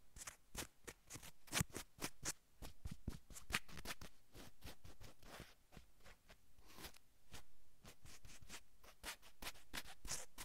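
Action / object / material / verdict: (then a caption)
scrape / cotton fleece sweatshirt / cotton fleece / none. Long almond-shaped acrylic nails on both hands scratch across a navy cotton fleece-knit sweatshirt worn on a man's back and shoulders. Quick, dry, bright scratching strokes come in rapid bursts over a soft, continuous fabric rustle with a faint low rumble beneath. The result is a quiet, close, crisp texture.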